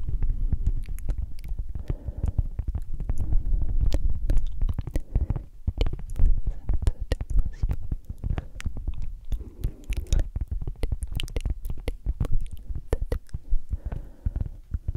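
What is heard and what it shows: A round, flat, solid cork coaster held upright is scratched with long acrylic nails. The result is a dense, continuous run of muffled, low-heavy scratching, broken by quick, sharp clicks that flick up into the high range.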